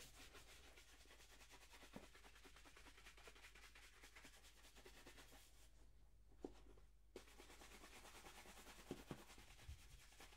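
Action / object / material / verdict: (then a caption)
scrape / leather dress shoe / leather / none. A hollow, empty black leather dress shoe is held in one hand while a wooden-backed horsehair brush sweeps in quick rubbing strokes along its leather upper. The result is a quiet, steady, bright bristly swishing over a low constant rumble, which briefly falls nearly silent about two-thirds of the way through before resuming. Six soft, short taps poke out of the brushing.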